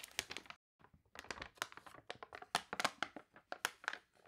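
Fingertips turn a wavy page of a glossy paper toy catalog while long nails rub and scratch across the spread. Quick, bright, crunchy crinkles and scratchy bursts follow one another closely, with almost no low end and a brief pause early on.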